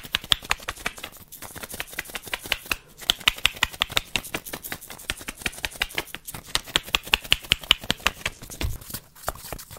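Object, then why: Plastic tablet tube with cap. A small orange plastic tube with a cap, the kind that holds effervescent tablets, is held in hand and tapped with long nails. Fast, sharp, bright clicks come in dense irregular bursts with brief pauses, each dying away almost instantly, plus a soft low thump near the end.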